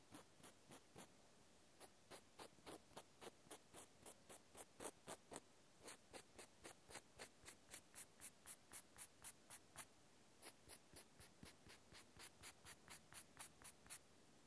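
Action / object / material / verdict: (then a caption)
scrape / natural cork stopper scratched by a cotton swab / cork / none. A cotton swab scratches and rubs the flat face of a small, solid natural cork stopper. It makes a steady run of short, dry, papery strokes, roughly four per second, each with a bright hiss and almost no ring. The strokes pause briefly near the start and again around the ten-second mark.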